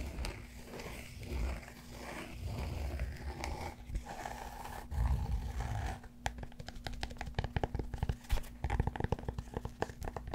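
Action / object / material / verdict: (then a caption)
scrape / cork yoga block / cork / none. Fingertips scratch and tap the surface of a large solid cork yoga block held close to the mic. Soft, low, rough scratching fills the first six seconds, then gives way to a rapid run of dry, short taps with almost no ring. A faint steady hum sits underneath throughout.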